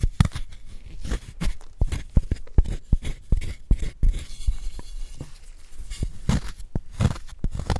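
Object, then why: Gym chalk block scraped with a wooden spoon. A wooden spoon scrapes powder out of the hollow of a solid white gym chalk block held in a gloved hand. Dry, crumbly scraping and crunching come in quick, irregular bursts, with low, dull thumps and brief bright crackles. The chalk crumbles steadily as the spoon digs it out.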